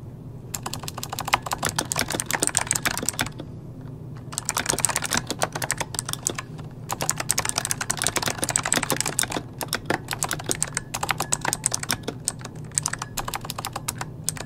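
Both hands type rapidly with the fingertips on an RGB-lit plastic mechanical computer keyboard resting on a desk, a solid device with hollow key switches. Bursts of sharp, bright clicks and clacks come in fast runs with brief pauses between them, each press dying away almost instantly. A low steady hum sits underneath throughout.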